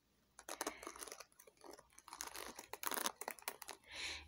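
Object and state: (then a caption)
Plastic paddle hairbrush. Long painted fingernails scratch and rub across the dense plastic pin bristles of a hand-sized paddle hairbrush with a white and blue plastic frame and black cushion, held close. The result is a quiet run of dry, crackly, bright scratching bursts with a softer, breathy rasp at the end.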